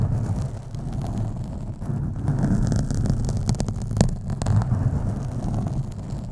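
Fingernails scratch across the top and sides of a black foam microphone windscreen. The result is a steady, deep, muffled rumbling rustle, with a few sharper brief scrapes standing out.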